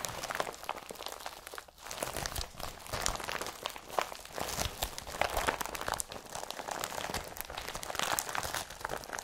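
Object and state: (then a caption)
Woven plastic carrier bag. An empty blue IKEA BRATTBY carrier bag made of woven polypropylene is rubbed with the palm, then scrunched and twisted in both hands. It makes a dense, continuous crinkling and crunching rustle with bright, papery texture and quick, dry crackles that stop almost at once.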